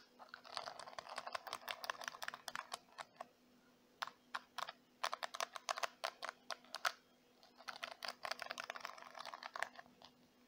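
Fingertips and long white nails scratch and flick the black plastic bristles of a small purple plastic detangling brush, then tap its glossy plastic back. This makes rapid, dry, bright clicks in dense bursts, with brief pauses between them. A faint steady low hum runs underneath.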